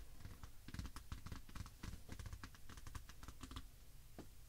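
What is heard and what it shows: Long acrylic nails tap and scratch across the glossy, partly foil cover of a large Pusheen 2018 paper wall calendar lying flat on a table. Quick, dry clicks and scrapes come in an irregular, typing-like patter, each with a bright tick over a soft, low thump. The sheets stay quiet between strokes.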